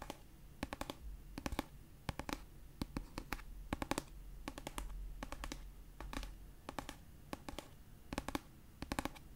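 A pastel paperback copy of "Red, White & Royal Blue," a solid paper book held in one hand, has its edge and cover tapped and scratched with long nails. Quick bursts of sharp, dry clicking taps come in small clusters, separated by a soft scratchy hiss over a faint low rumble.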